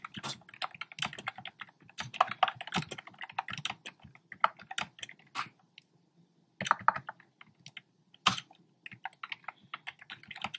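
Fingertips with short nails type on a black plastic keyboard with hollow, round retro-style plastic keycaps in cream, pink and red. Quick, bright, clacky key taps come in uneven bursts, pausing for about a second in the middle before resuming. Each tap is short and dry with almost no ring.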